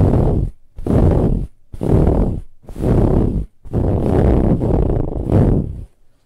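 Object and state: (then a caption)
Fabric pillow being scratched. Long nails scratch vigorously across a soft, ribbed brown fabric pillow in a close-up. The result is a series of rough, dull, low-heavy scraping bursts with short pauses between them, merging into a longer continuous stretch of scratching toward the end.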